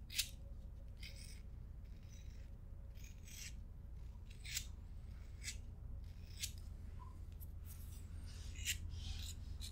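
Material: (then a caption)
Plastic. A thumb rolls the metal spark wheel of a small, hollow, pink BIC plastic disposable lighter with a metal hood, while long nails rub and scratch its plastic body. Quiet, bright, raspy scratching bursts repeat at uneven intervals over a steady low hum.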